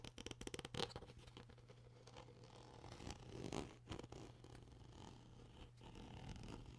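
Fingers twist the white plastic cap of an empty clear PET plastic water bottle while long nails scratch the bottle's neck. A quick burst of sharp, crackly ticks opens the clip, then gives way to softer scraping and rustling over a steady low hum.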